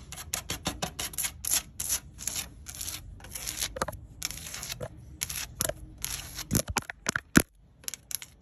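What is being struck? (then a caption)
Wooden deck boards. Long acrylic nails tap and scratch across solid, grey weathered timber deck boards with screw heads outdoors, with fingertips also resting on the wood. The result is a rapid run of dry, bright clicks with no ring, broken by short, scratchy, rasping strokes and a few sharper taps near the end.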